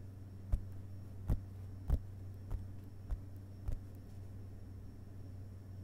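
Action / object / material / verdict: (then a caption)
tap / paper book pages / paper / none. Both hands gently tap the paper pages of an open hardcover book resting on a carpet with their fingerpads. Six soft, dull taps come at a loose, uneven pace, each dying away almost instantly. A steady low hum runs underneath throughout.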